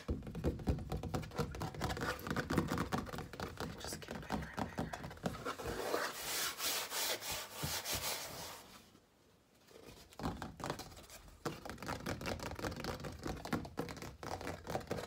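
Fingertips and nails rub and scratch across the painted surface of a large stretched canvas with a painted sun, on a wooden frame held in both hands and hollow at the back. Quick, irregular scratching and rubbing strokes carry a dull, drumlike low resonance, turning brighter and hissier midway. A brief near-silent pause follows before the scratching resumes.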